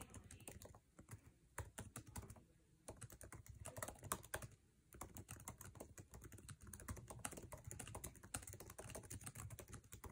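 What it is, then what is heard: Laptop keyboard being typed on. Fingertips tap fast on a MacBook Air keyboard with plastic keycaps set in an aluminum chassis while typing. Dense, rapid runs of short, dry clicks carry a soft low thump and bright edges, broken by a few brief pauses. The taps stop quickly, with almost no ring after each one.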